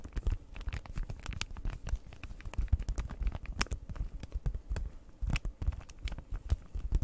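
A flat cardboard cross-stitch kit package in plastic wrap is scratched and tapped with long nails, giving a dense run of quick, dry clicks and crinkly scratches. The sound is mostly low thumping taps with sharp, bright transient edges, and nothing rings on after each tap.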